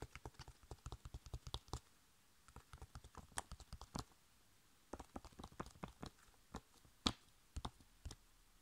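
A flat, sealed, printed foil-laminated plastic face mask sachet is tapped on its front with long nails and fingertips. About 19 quick, dry clicks with a soft low thump and a bright tick come in uneven bursts separated by short pauses. Each tap dies away almost instantly.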